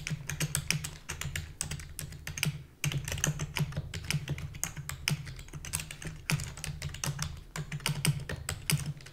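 Rapid typing with long fingernails and fingertips on a full-size black plastic keyboard with a hollow body. Dense bursts of sharp, bright clicks and taps ride over a steady low hum, pausing briefly near the middle before continuing.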